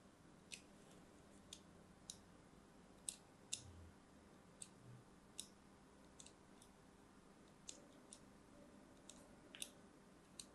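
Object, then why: Bar of soap scored with a thin metal blade. A thin metal blade scores diagonal lines into a pink-and-white striped solid bar of soap held in the hand. About thirteen short, bright scratching clicks stand out over a quiet, steady low hiss, each dying away almost instantly.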